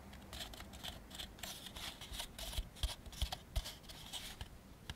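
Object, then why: Molded-fiber paper plate. An empty white molded-fiber paper plate, held in both hands, is tapped and scratched on the inside with fingertips and nails. The result is a steady, dry, papery scratching with a bright hiss, broken by irregular short taps that land as soft, dull thumps with no ring.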